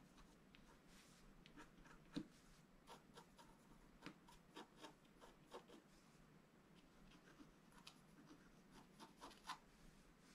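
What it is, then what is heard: Scratch-art paper sheet. A thin wooden stylus scratches across a flat black-coated scratch-art card, with a brush lying unused beside it. Quiet, dry scratching strokes come in a series of short, bright rasps over a soft, steady hiss.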